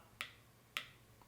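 A spoon taps twice on the torched, caramelized sugar crust of a crème brûlée after it has cooled for a couple of minutes. Each tap gives a sharp, bright click that dies away quickly. The hard, glassy sound shows the caramel top has set firm.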